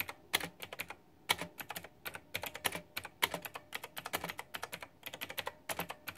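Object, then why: Plastic mechanical keyboard with round keycaps. Rapid, dense typing with fingertips and long nails on a white backlit plastic retro mechanical keyboard with round typewriter-style plastic keycaps. It produces a quick run of bright, sharp clicks and clacks that stop almost instantly, with brief pauses between bursts.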